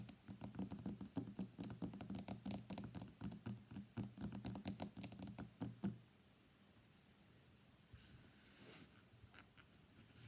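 Fingernails tap rapidly and irregularly on the glass back of a white iPhone X lying face down on a mat, making quick, crisp clicks over a low, hollow knock. The tapping runs for about six seconds, then stops, leaving a faint, quiet background for the rest of the clip.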